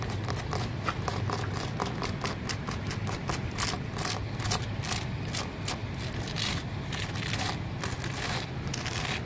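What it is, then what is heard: Rough concrete flower pot. Fingertips and nails scratch across the porous surface of a large, solid grey concrete flower pot. The result is a continuous run of rough, bright scraping strokes over a steady low hum.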